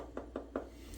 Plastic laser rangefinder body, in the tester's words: the kind of cheap hollow sound of the body